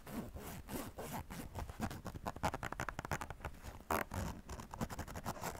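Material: Nylon.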